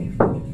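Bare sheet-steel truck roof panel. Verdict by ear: Hollow.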